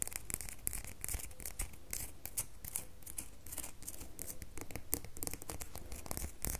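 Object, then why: Bar of soap. A solid red bar of soap, held in the hand, is scratched with long nails. The result is a dense run of quick, bright, crackly scratches over a steady low rumble, continuing without a break.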